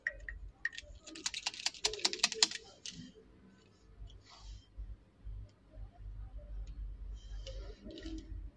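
Long acrylic nails tap and scratch along the shaft of a small, solid, slim pink plastic lip liner pencil held close. A quick cluster of sharp, bright, clicky taps comes first, then softer, high scratching strokes over a low background hum.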